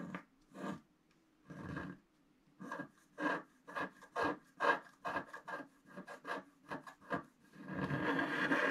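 A wooden stylus scratches along the right edge of a flat black, wax-coated scratch art sheet to draw a snowy tree. Short, dry, raspy strokes come in an uneven rhythm with brief pauses between them. The clip ends in a longer, continuous scraping rub.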